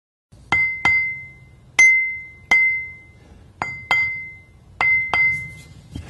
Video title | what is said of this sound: 04 02 Ring Testing Grinding Wheels | You can clearly hear the ring when we tap this wheel, so it doesn't look like it has a crack.